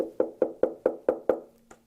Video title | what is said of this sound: Angified Presents: Talkin Shhh I.T. with Glenn & Tony | when you tap on it, clearly a hollow body